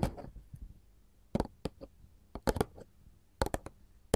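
A glossy printed paperboard candy box is tapped and scratched with gold filigree metal claw jewelry. Short, dry taps with a bright click and a soft low thump come in uneven bursts separated by quiet gaps, each dying away almost instantly. A brief scratchy rustle opens the clip.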